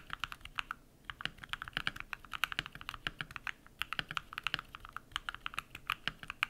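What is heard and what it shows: Bare fingertips type rapidly on a compact modded mechanical keyboard with white PBT plastic keycaps and lubed switches. Quick, dry clacks with a bright tone centered around 1.5 kHz stream steadily, with very little low end. The typing pauses briefly near the first second and again before the fourth.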